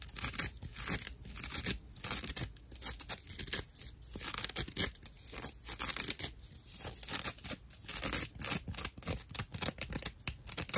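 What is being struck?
Dried loofah fiber pad.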